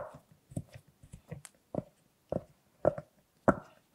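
Fingertips push the hollow bubbles through a large rainbow silicone pop-it purse, making a series of short, dry pops that grow louder and more spaced out toward the end. Softer rustling and handling sounds come through as the hands lift and turn the purse.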